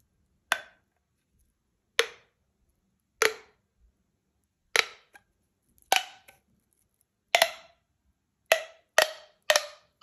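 A hollow blue corrugated plastic pop tube, about 20 cm long, is held in both hands while fingertips pull and stretch it, popping its ribbed segments open one by one. Ten sharp, bright pops sound at irregular intervals, each snapping cleanly and dying away almost at once, with a hollow mid-pitched ring and quiet gaps between them.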